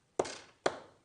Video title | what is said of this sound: HobbyMaker Live | you can hear it because it gets caught up in all of that mic there is so much in there